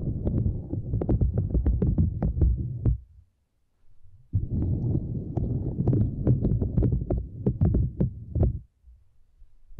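Long nails scratch and tap across a small, flat purple silicone grid mat resting across a microphone, making deep, muffled, thumping rubs with quick, sharp ticks. The scratching runs in two dense bursts separated by a brief near-silent pause, then fades to a faint low rumble at the end.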